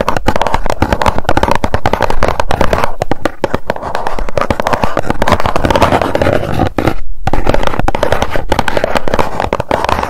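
Long nails rapidly tap and scratch across the face of a small, hollow white cardboard box held in both hands. The result is a dense, continuous stream of dull, low, hollow taps with soft scratchy texture, broken by one brief pause near the seven-second mark.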